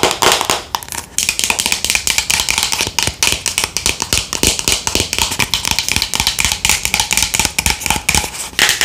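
Long nails tap rapidly and continuously on the sides and red lid of a hollow white plastic Thayers pad jar held in the hands. The result is a dense stream of bright, hard clicks with almost no low end, each dying away almost instantly.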